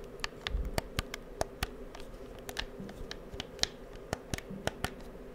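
Fingertips click the buttons and triggers of a hollow, handheld black plastic PS4 controller and tap its shell close to the microphone. About sixteen sharp, dry plastic clicks and taps land at an irregular pace, each bright and cut off almost instantly over a quiet, steady low hum.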